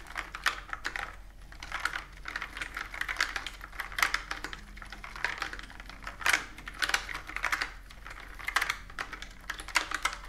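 A plastic computer keyboard with round keys is typed on with fingertips and long nails. Rapid, uneven bursts of short, bright clicks and clatters come in quick runs with brief pauses between them. A faint steady low hum sits underneath.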